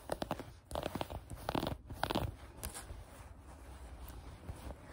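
Long acrylic nails scratch and bunch a pair of mint green soft fleece sweatpants lying on a table. Quick, irregular bursts of crunchy, rustling scratches come over the first two seconds, then settle into a softer, steady brushing rustle. The sound is quiet and muffled, with little bright content and short, dry scrapes that barely ring.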